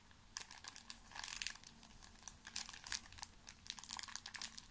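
A small, full pocket tissue pack in thin plastic film is squeezed and crinkled with fingertips. Quiet, bright crinkles and crackles come in irregular bursts, each dying away almost at once, with very little low end.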